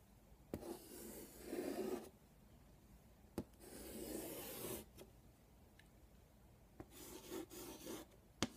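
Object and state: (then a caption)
Chalk drawn on a wood-framed chalkboard. A hand draws X marks with chalk on a flat black chalkboard with a wooden frame, in short scraping strokes across the board. Three separate bursts of gritty, rasping scratching rise and fade, bright and hissy with a low-mid body, each set off by sharp little taps as the chalk meets and leaves the surface. Quiet pauses fall between the passes.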